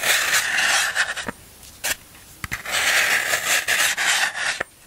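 A black tool is scraped and rubbed repeatedly along the face of a large solid block of green floral foam held in the hand. It makes bright, crumbly rasping in two long bursts, split by a quieter pause with a few short scratchy ticks.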